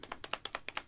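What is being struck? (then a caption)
Plastic mascara tube with mixing ball. A plastic Rimmel London "Shake It Fresh" mascara tube is shaken before use, and the loose mixing ball inside clicks around. Nine quick, dry clicks sound in under a second, each short and bright with almost no ring, centered around 1.3 kHz.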